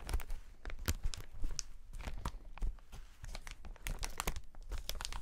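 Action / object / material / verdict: scrape / plastic air cushion packaging sheet / plastic / none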